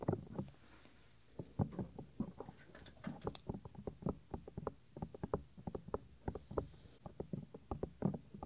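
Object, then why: Silicone ear of a binaural microphone. Fingertips with medium-length nails rub and scratch over the soft white silicone ear of a 3Dio binaural microphone, a hand-sized ear mounted on a plastic ring. Many short, close-up thumps, scuffs and crackles follow in an uneven rhythm, heavy in the low end and dying away almost instantly. A faint hiss sits between them.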